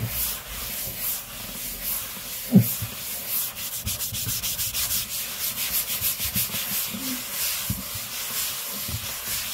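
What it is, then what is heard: Laminate tabletop. An open palm and fingers rub and slide along a large, flat, solid grey laminate tabletop, making a steady, bright, breathy hiss that swells and fades in quick strokes. A single dull, low thump stands out early on, and the rubbing continues evenly to the end.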